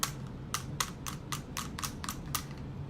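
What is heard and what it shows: Metal purse feet installed on the bottom of a handbag are tapped down against a surface, giving nine sharp, bright clicks about a quarter second apart. Each click dies away almost at once over a faint low hum.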